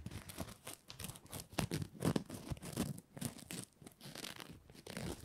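A red patterned fabric ribbon Christmas bow is held in both hands while fingernails scratch it and fingers rub the fabric. Soft, dry scratching and crinkly rustling come in quick, uneven bursts, with a few louder scrapes standing out over a quiet background.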